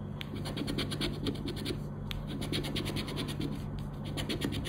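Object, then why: Coated paper scratch card scraped with a plastic scraper. A round black plastic scraper rapidly scrapes the scratch-off panels of a thin coated-paper "10 Para Ganhar" scratch card lying flat on black cloth. Quick, bright, raspy strokes repeat steadily over a constant low hum.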